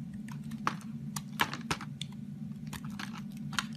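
A partly carved, solid orange bar of soap is held in the hand and scraped and cut with a box cutter blade, shaving it into flakes. Short, crisp, crunchy scrapes and cuts snap out over a steady low hum, with a few sharper, brighter strokes standing out. Each stroke dies away almost instantly.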